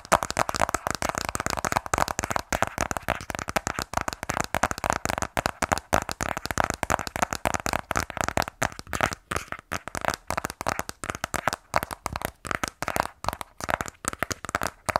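A sealed black cardboard iPhone 12 Pro box, hollow with its contents inside, is held tilted in both hands and tapped rapidly with fingernails. The result is a fast, steady run of short, dry clicks centered around 1.1 kHz, with a papery hollow tone, little low end and very quick decay.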